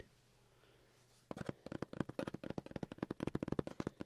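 A cardboard box is tapped and scratched in quick succession. After about 1.3 seconds of near-silence, a rapid run of short, dry, papery taps and scrapes begins. The sounds have little ring and sit mostly in the low-mid range.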